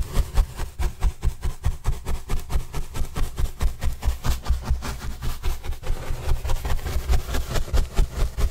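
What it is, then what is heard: Cardboard panel brushed. A paintbrush sweeps across a large, white, printed corrugated cardboard panel held by hand, making a steady run of about 19 soft, brushy strokes at a moderate rhythm. Each stroke is a short, dull, low-pitched swish with little brightness and almost no ring afterward.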